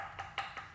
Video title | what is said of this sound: Science Lesson: Weird Animal Bones | you can knock on it, you can hear it's really loud